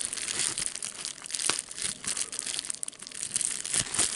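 Fingers squeeze, pop and crinkle a clear plastic bubble wrap sheet full of air bubbles. Dense, bright crinkling runs throughout, broken by short sharp pops, with almost no low end.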